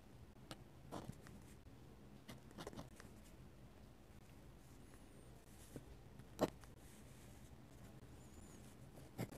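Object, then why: Metal-nib dip pen on a paper sketchbook page. A metal-nib dip pen, held in the fingers, scratches ink lines across the white paper page of an open sketchbook. The result is a quiet, dry scratching with a few sharper ticks and very short decay, over a steady low background hum.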